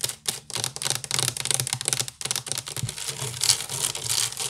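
Fingernails scratch fast with both hands across a large, hollow woven wicker basket. The result is a dense run of bright, crackly scratching bursts with short gaps and only a faint low hollow thump underneath.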